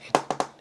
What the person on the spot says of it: though it sounds like plastic, it it actually is an aluminum uh bottom lid as well